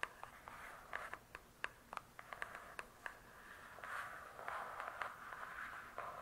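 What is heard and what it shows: Long nails tap and scratch on the glossy cardboard cover of a large, closed hardcover book. Sharp, dry clicks with almost no ring come first, then give way to a soft, continuous scratching with a midrange hiss around 1.2 kHz, all at a quiet level.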